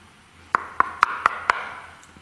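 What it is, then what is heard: Knocked wall. Five sharp knocks on a wall in a medieval commandery, struck to compare against an unexplained noise heard earlier. Each knock is a crisp, hollow tap with a clear mid-pitched tone around 1.25 kHz, almost no low end, and a faint lingering ring between strikes. The knock does not match the earlier noise, which was a big, very dull thud like knocking on a door.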